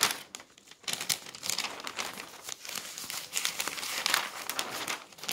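Thin pages of an open newsprint newspaper resting on a table are grabbed and flipped over with the fingers. Continuous bright crinkling and rustling rises and falls in bursts, with almost no low end.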